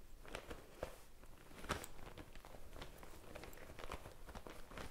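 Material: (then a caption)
Faux leather. A small, hollow pink faux-leather zip pouch is held near the microphone and tapped and scratched with long painted nails and fingertips. Soft, dull taps with a low thump mix with light, crinkly scratching, and a couple of sharper knocks stand out. The sounds stay quiet and short, with little ring.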